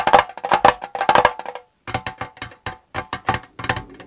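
Fingertips tap rapidly on the gold metal lid and sides of a small, hollow Twinings tea tin standing on a desk. About twenty quick, bright, clicky taps with a short metallic ring near 800 Hz come in uneven bursts, with a brief pause partway through.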